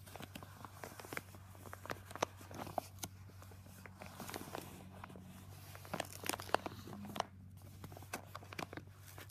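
Palms press a yellow Jiffy padded paper mailer with contents inside while fingertips crinkle and fold its paper flap. The result is a quiet run of many sharp, brief paper crackles and crinkles over a steady low hum.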